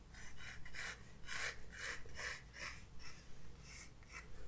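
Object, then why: Graphite pencil on a paper sketchbook page. A graphite pencil tip is drawn in light sketching strokes across a white paper page of a spiral-bound sketchbook lying flat on a wooden desk, with the other hand holding the book. Soft, scratchy rasping strokes come in short repeated bursts with a bright papery hiss over a faint low hum.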